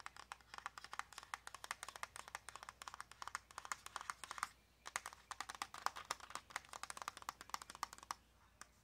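A small, hollow white cardboard press-on nail box with a clear plastic window is tapped quickly and repeatedly with long nails. The taps are sharp, dry clicks with very short decay, centered in the low-mids with bright edges. They come in a steady flurry, pause briefly partway through, and then continue.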